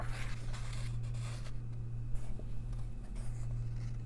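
Long nails trace the text and a church drawing on a paper page of an open coloring book, making soft, bright scratching strokes. A steady low hum runs underneath throughout.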